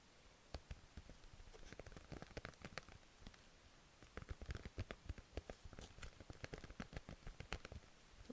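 Long red-painted nails tap and scratch a flat, thin sheet of dog-print paper stickers held in both hands. The result is a quiet run of dozens of short, dry taps with no ring, each with a soft low thump and a bright papery tick. Scratchy texture fills the gaps, and the tapping grows denser in the second half.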